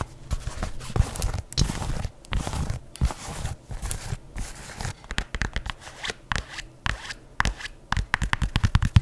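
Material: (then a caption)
Leather. An empty white adidas leather sneaker with laces is turned in the hands while long nails scratch and flick its upper and laces. The result is a dense run of dry scratches, crinkly rustles and short sharp flicks over soft, low handling thumps, each sound dying away almost at once.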